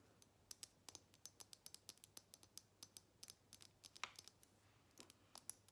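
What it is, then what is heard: Glass perfume bottle. Long nails tap rapidly on a small square glass perfume bottle with a black cap, partly full of liquid and held in the hands. About thirty sharp, bright, dry clicks come in an uneven run, each dying almost instantly, over a faint steady hiss.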